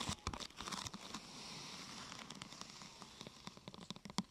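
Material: Plastic.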